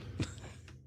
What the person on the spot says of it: there's not wood under there it's plastic